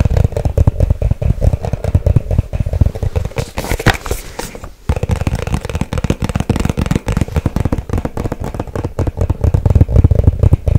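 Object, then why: Small cardboard box. A small hollow white cardboard product box, held in both hands, is tapped fast with long acrylic nails. The result is a continuous stream of quick, dry, hollow thuds with a low, boomy body, broken by a brief pause just before the five-second mark.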